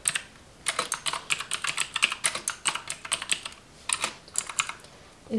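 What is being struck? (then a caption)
Plastic computer keyboard. Long acrylic nails type steadily on a black plastic computer keyboard resting on a pink plastic table, with both hands on the keys. Bursts of quick, bright plastic clicks come in uneven runs separated by short pauses, with no lingering ring.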